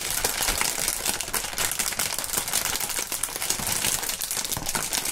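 Clear polyethylene air-cushion film, plastic air pillow packaging, is held in both gloved hands and crinkled with the fingertips. A steady, dense bright crackle runs throughout, made of many small sharp snaps and rustles over a thin low end.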